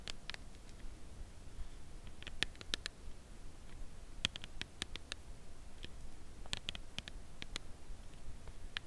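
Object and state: Cardboard chocolate bar box.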